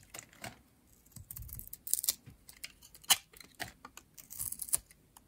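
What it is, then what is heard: Dry bar soap being shaved. A metal utility blade shaves curls from the surface of a light blue rectangular bar of solid, dry soap held in the hand. The result is a quiet series of short, crisp, bright scraping strokes with almost no low end, each dying away instantly.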